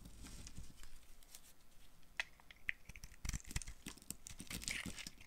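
A green-handled knife shaves and carves flakes from a hand-sized, pink-and-white marbled bar of dry Fax soap held in one hand with long nails. The result is a quiet run of dry, crisp scraping and crinkly tearing sounds, with bright clicks and a few sharper cuts that stop almost instantly.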